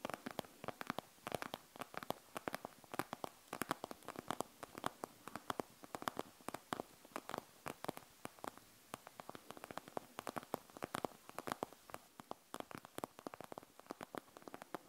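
Long nails quickly scratch and tap on a panda gel bead eye mask with a plastic shell and gel beads inside. The result is a dense run of sharp, dry clicks with very short decay, centered in the mid range with bright crackly edges over a faint hiss.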